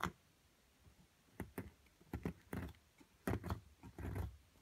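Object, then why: Plaster block with embedded crystal, struck by a metal chisel. A metal chisel chips at a solid plaster block holding a purple crystal, giving a series of short, dull, low knocks at an uneven pace. Some strikes carry a brief scraping crumble, and each one dies away almost at once.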